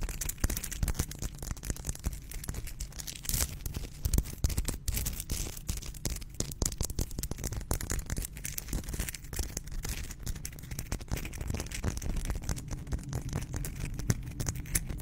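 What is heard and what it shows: A hand-sized solid pink Himalayan salt rock, held in both hands close to the microphone, is scratched and tapped with long pink acrylic nails. The result is a steady 15-second stream of fast, dry scratching and sharp clicking taps, with bright crackly detail over a low rumbling base.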